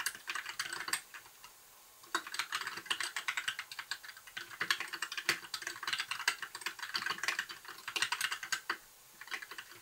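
Fingertips of both hands type continuously on a compact white mechanical keyboard with backlit plastic keycaps. The result is a dense run of sharp, bright plastic clicks and clacks that decay almost instantly, with almost no low end. Typing halts briefly around the one-to-two-second mark and again near the end.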